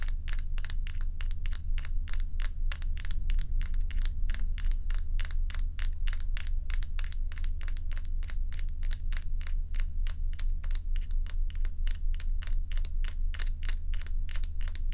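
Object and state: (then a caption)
Ice cubes tapped and scratched with fingernails. Long nails tap and scratch two solid ice cubes held close up in the hand. A steady run of sharp, bright clicks and scrapes comes at an uneven pace, over a constant deep low hum.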